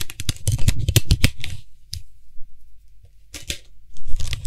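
Fingertips and nails rapidly tap and scratch the top of the white, hollow plastic cap on a Lysol aerosol spray can. A dense, irregular flurry of hollow, low thumps and bright, scratchy clicks fills the first second and a half. After a quiet pause with a faint low hum, short bursts of taps return, ending in a stretch of bright scratching.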